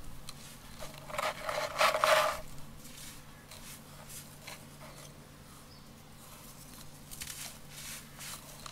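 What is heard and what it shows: Bare hands crumble and rub solid clumps of dry yellow sand inside a round container full of loose sand, with fine grains pouring from the fingers onto the sand below. A loud, bright, crisp crunching burst comes early, then eases into softer gritty rustling and a fine trickle of falling grains, with a few more crunches near the end.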